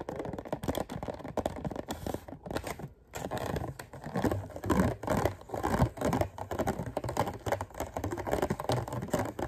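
Fingertips and short nails tap and scratch the lid of a hand-sized, hollow, clear thin-plastic clamshell container holding green grapes. Rapid, dry, crackling taps and scrapes run almost continuously, with a brief pause near the three-second mark. The sound is muffled and mostly low to mid in tone, with very little high-end brightness.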